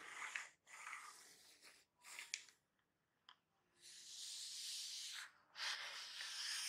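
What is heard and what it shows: A small, hollow, glossy black printed cardboard box for a laptop battery lies on a table while fingertips and medium-length painted nails tap and scratch across its surface. The sound is a series of soft, bright, hissy scratching swells broken by short quiet gaps and a few sharp taps. The box is turned over near the end.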